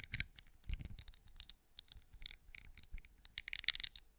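Long acrylic nails tap and scratch a hand-sized, cream, pinecone-shaped wax candle with a raised scale texture that appears solid, heard close-up. A quiet, irregular run of quick, dry, bright clicks and scrapes centered around 3.7 kHz, each dying away almost instantly, with faint low thumps beneath.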